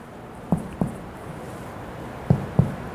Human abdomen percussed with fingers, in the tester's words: di semua titik 13 titik tersebut yang sudah kita ketuk semuanya ee bunyinya adalah timpani